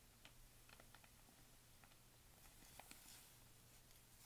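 A hand with painted nails sweeps over the pages of a thin paper pharmacy advertising flyer and turns them. The result is a quiet, dry brushing and rustling with small crisp ticks and crinkles, over a steady low hum.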